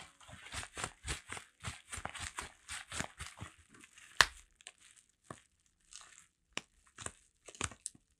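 A flat Heng:Garae album wrapped in plastic bubble wrap is held in one hand while the fingertips scratch and squeeze the bubble wrap surface. A quick run of bright, crinkly scratches fills the first half, peaking in one sharp, louder crackle. It then thins into sparse, separate rustles and crinkles with quiet gaps between.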